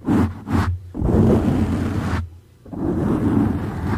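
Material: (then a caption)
Foam. Fingertips and nails of both hands scratch and rub a dark grey soft foam windscreen over a condenser microphone. The result is four muffled, rumbling bursts of scratching: two short strokes, then a long rub, a brief near-silence, and another sustained rub. The sound is heavy in the lows with little high end.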